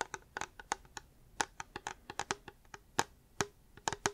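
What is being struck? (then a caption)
Hard plastic water bottle. Fingers tap a reusable hard plastic water bottle in about eighteen quick, irregular taps over four seconds. Each tap is a short, dry, hollow click centered around 900 Hz with bright upper edges and almost no ring.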